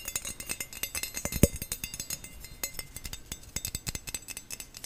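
Fingernails rapidly tap and scratch over a perforated stainless steel skimmer spoon with a thin flat bowl and handle. The result is a quick, steady patter of short, bright metallic clicks and light scrapes that die away instantly, with one sharper, louder tap near the middle.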